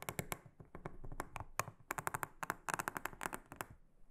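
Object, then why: Silicone honeycomb trivet mat. A small silicone-headed brush is stroked across a large, round, flat, solid blue silicone honeycomb trivet mat. It makes a rapid series of short, dry, crisp brushing taps with bright tops and a soft low thump. Each stroke stops almost at once with no ring.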